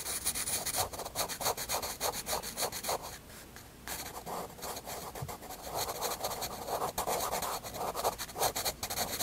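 A graphite pencil scratches and rubs hatching strokes across a white paper sketchbook page. Rapid, uneven back-and-forth strokes give a dry, bright, papery scratch with a midrange rasp. There is a brief quieter pause near the middle before the steady hatching resumes.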